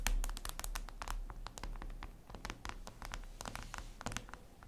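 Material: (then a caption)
Glass. Long red nails tap and scratch across a flat, glossy black reflective glass surface, likely a tablet screen. A quick, irregular stream of sharp, bright clicks and short scrapes plays over a steady low hum.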